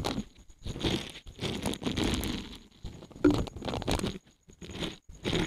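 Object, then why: Silicone scrubber pad. A small, solid, thin green silicone scrubber pad is held in both hands and bent so its bristles flex and fan out while fingertips rub across them. This produces a series of soft, crunchy, scratchy rustling bursts with short pauses between them, weighted toward the low and mid range with a faint bright edge.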